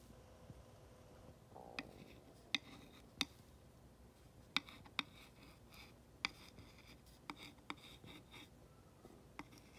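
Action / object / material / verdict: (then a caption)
scrape / flat wooden sign scratched with a glass rod / wood / none. The rounded tip of a glass rod, held by fingers with long nails, slowly traces and scratches along the printed black lettering of a flat rectangular solid wooden plaque sign lying on a dark surface. Quiet, bright scraping runs under sharp, very short clicks spaced seconds apart, each ending almost instantly.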